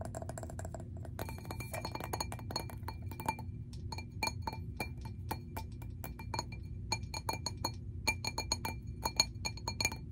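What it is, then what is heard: Glass object, tapped. A glass object is tapped repeatedly in a quick, uneven series of light fingertip-style taps. Each tap gives a short, bright clink that rings and dies away almost at once, over a low, steady background hum.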